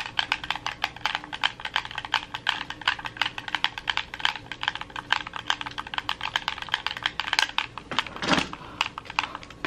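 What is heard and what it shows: A red hollow plastic gamepad is held in both hands while fingertips and thumbs rapidly press its buttons and sticks. The result is a dense, steady stream of short, bright, clicky button taps, with a broader, rougher burst near the end.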